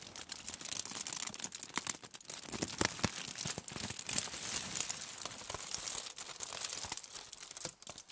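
A large crumpled sheet of aluminium foil, folded into a loose hollow bundle on a table, is scratched, pressed and crinkled with long nails and fingertips. Dense, bright crackling and crinkling runs throughout, broken by sharp, brief snaps with almost no low end.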